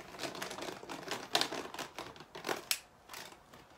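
A small clear plastic drinking water bottle with a white cap and label, apparently still holding water, is held in the hands and tapped or scratched with fingernails. It makes a quick, irregular run of bright, crinkly clicks and scratchy brushes with almost no low end and a very short ring. A few sharper taps stand out near the middle and toward the end.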